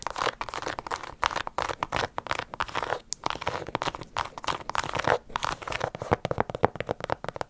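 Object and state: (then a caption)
Leather and rubber sneaker. Long nails rapidly scratch and tap the leather-look upper of a single light blue, white and yellow low-top sneaker with a rubber sole, held hollow and empty in both hands just above the mic. The result is a close, dense stream of crisp, dry clicks and crunchy scratches that stop almost instantly, with brief gaps between bursts.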